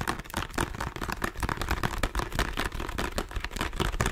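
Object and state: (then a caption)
Plastic lotion bottle. A small hollow plastic squeeze bottle of body lotion is held in both hands while fingertips and nails tap and scratch its surface. The result is a fast, continuous run of short, dull, hollow taps mixed with scratchy rasping, heavy in the low end with brief, quickly fading clicks.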